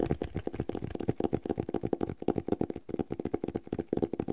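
Fingertips and nails tap and scratch the cloth cover of a red cloth-bound hardcover notebook with thick paper pages, held upright. A rapid, uneven stream of short, dull taps with soft scratching fills the clip, each tap dying away almost instantly with a muted, mid-range tone.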